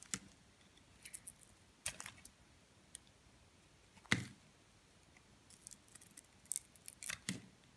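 A metal blade scrapes the pink-tinted outer layer off a solid white soap bar held in the hand. Short, crisp, bright scraping and cutting clicks come in scattered bursts over a quiet background, with one louder, fuller scrape near the middle.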